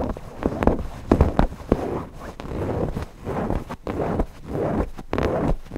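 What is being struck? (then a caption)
Stuffed cotton fabric owl cushion. Fingertips scratch the cotton fabric body and beak of a stuffed cotton owl cushion. The result is a soft, dry, papery rustle with uneven bursts of short scratches over a muffled low-mid hiss, and very little high end.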